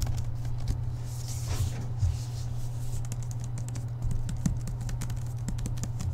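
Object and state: Book being tapped.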